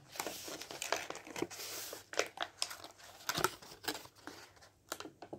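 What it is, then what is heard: Paperback book pages riffled. A medium-sized softcover paperback book with paper pages and a white cover is held in one hand while fingertips riffle and fan its pages. The result is a quick series of dry, crisp papery flutters and crinkly rustles, bright and airy with almost no low end, each burst cutting off sharply.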